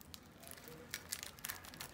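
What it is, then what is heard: Crispy baked börek pastry. A freshly baked chicken börek, made of yufka pastry brushed with water and oil and baked at 190 °C, is broken or pressed just out of the oven. It gives a quick series of dry, bright crackles and crunches. The pastry is well browned and crisp.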